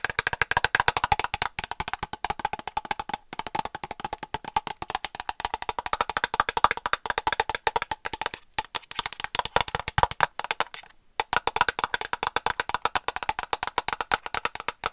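A small white plastic cosmetic cream tube, hollow and partly filled, is tapped and scratched with long nails close to the mic. Quick, dry, hollow clicks with a clear knocking tone near 950 Hz follow one another in rapid, steady bursts, with a bright scratchy edge. Every click dies away almost at once, and there are short pauses around 3, 8.5 and 11 seconds.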